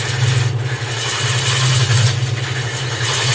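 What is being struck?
Nothing is struck.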